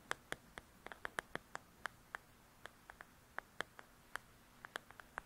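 Long nails scratch and tap on the cover of a paperback paper coloring book. Twenty-two short, crisp clicks sit around 1.7 kHz with bright edges and die away almost instantly over a quiet background.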